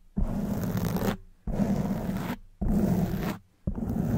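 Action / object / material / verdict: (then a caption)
scrape / foam microphone windscreen / foam / none. Long white nails scratch a black foam windscreen on a silver microphone in four sustained strokes, the last one cut off at the end. Each stroke is a dense, rough, crackling rustle with a heavy low rumble, separated by short near-silent gaps.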